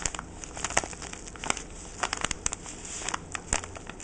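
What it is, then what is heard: Paper-wrapped parcel being crinkled. A fingertip with a short painted nail scratches and crinkles the white crinkly paper of a small parcel, right beside its jute twine bow. Quick, dry crackles and rustles come in uneven bursts, bright and hissy, with the sharpest snaps standing out over a soft continuous rustle.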